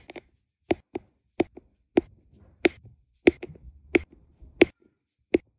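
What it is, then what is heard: Resin drills tapped onto adhesive canvas. A plastic drill pen with a metal tip taps small, solid, round resin diamond painting drills down onto a flat adhesive canvas with a Lady and the Tramp design. About ten short, dry, bright clicks fall in an irregular rhythm, each dying away almost at once. Faint soft scuffs fill some of the gaps between them.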